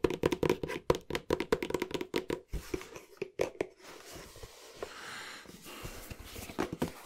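A flat, hollow green cardboard box with a black rim, held horizontally, is tapped quickly with the fingertips. Its hollow body gives a dry, knocking tone around 480 Hz. A dense run of sharp taps fills the first half, then gives way to a quieter, soft rustling scrape broken by a few scattered taps.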